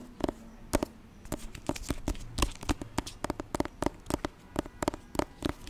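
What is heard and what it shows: Fingertips tap and scratch the glossy jacket of a thick hardcover copy of "Auggie & Me," held close to the mic. A quick, uneven series of dry, short taps with a dull low body alternates with soft, papery scratching between them. Each tap dies almost instantly with no ring.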